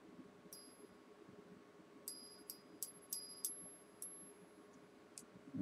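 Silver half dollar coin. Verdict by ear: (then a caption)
Real. A 1937 Walker silver half dollar is tapped eight times near a microphone, each tap giving a bright, chime-like ring with high, sustained tones. The clear ringing resonance marks it as a real silver coin.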